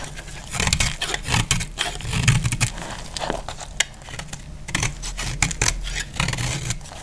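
A solid, dry white soap bar is held in the hand and cut into flakes with a segmented metal utility blade. The blade makes a rapid series of crisp, bright scraping and crunching cuts over a steady low rumble, and each cut stops almost at once with no ring.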